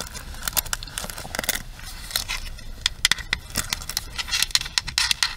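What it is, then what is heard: Plastic paddle hairbrush. Long nails scratch the bristle pins and tap the plastic frame of a pink plastic paddle hairbrush held upright. A dense, bright crackling scrape is broken by many sharp, short clicks with almost no ring, centered near 2 kHz and with little low end.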